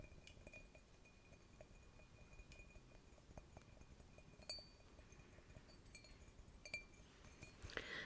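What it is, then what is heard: Porcelain mug. Clinking sounds are made on a large porcelain mushroom-shaped mug received as a Christmas gift. Repeated light, bright clinks and taps sound over a soft background, with a few sharper knocks near the end.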